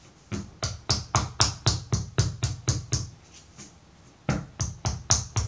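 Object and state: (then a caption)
Block of soft wet pottery clay. A solid purple-brown block of soft wet pottery clay, about 12 cm long, is patted and tapped with the palm and fingertips on a wooden table and knocked against the tabletop to square its sides. It makes a steady run of dull, low thuds with a bright slapping edge and very short decay, about four per second. The hits pause briefly, then resume.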